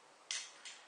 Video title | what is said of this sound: 13 – Prodotti finiti (luglio 2016) | ora all'interno Si sente subito la pallina Ma quando era pieno la pallina si sentiva quando il prodotto era pronto per essere nebulizzato